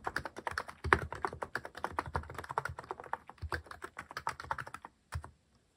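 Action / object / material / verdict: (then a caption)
tap / mechanical keyboard with plastic keycaps / plastic / none. Fingertips type rapidly on a cream plastic-cased mechanical keyboard fitted with cat-themed plastic keycaps. Short, dry clacks with a soft low thump run in a steady, dense stream, then pause briefly before a final quick burst of keystrokes and silence.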